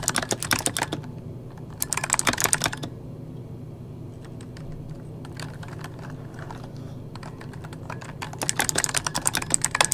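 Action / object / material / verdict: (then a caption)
tap / mechanical keyboard with plastic keycaps / plastic / none. Fingertips of both hands type on an RGB-backlit mechanical keyboard with plastic keycaps, giving rapid, sharp, bright clicks with no ring. The loudest bursts of typing come at the start, around two to three seconds, and again in the last two seconds. Between them, softer, sparser keystrokes sit over a steady low hum.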